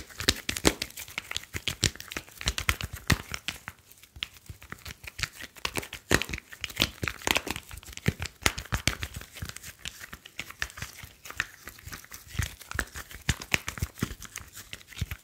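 A slim smartphone with a glass screen and metal back is held horizontally in both hands while fingertips rub and tap the glass screen and edges. The result is a dense, continuous stream of crisp, bright scratching and sharp little taps that stop almost instantly, with a crinkly, tearing texture throughout.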